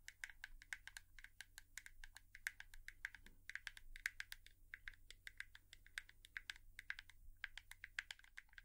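A hairbrush is tapped with long nails in a quick, irregular series of dozens of light taps. Each tap is a dry, bright click centered around 1.6 kHz with almost no ring. A faint, steady low hum runs underneath.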